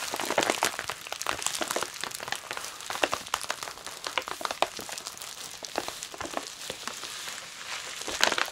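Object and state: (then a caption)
Plastic bubble wrap. Long nails tap and palms press and rub a clear plastic bubble wrap bundle holding a plush toy, lying flat. Dense, bright crinkling fills the clip, with sharp, quick clicks and crackles scattered throughout and almost nothing in the low range.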